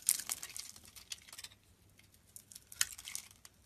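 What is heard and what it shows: A metal blade scrapes and shaves curls off the surface of a solid, hand-sized yellow bar of soap held in one hand over a pile of soap shavings. The result is quiet, bright, crisp crinkling and scraping bursts, clustered in the first second and a half, then a near-silent pause before a sharper scrape and a few more shaves near the end.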